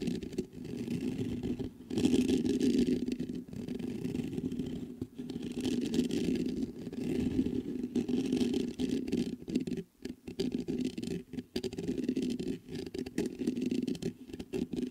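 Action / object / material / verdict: scrape / metal mesh microphone grille / metal mesh / none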